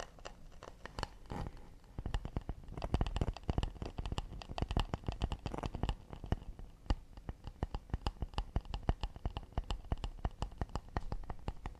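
An acacia wood plate is tapped fast and delicately with the fingers, producing a steady stream of short, dry taps. Each tap has a soft low thud with a light clicky edge and stops almost instantly, with no talking.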